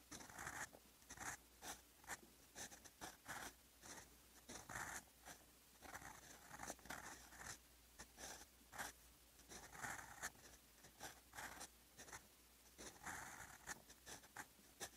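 A steel fountain pen nib writes in blue ink on a lined notebook page, its scratchy strokes coming in quick, separate bursts with short pauses between them. The sound is a dry, papery rasp with bright, hissy highs and a mid-range scratch, and almost no low end.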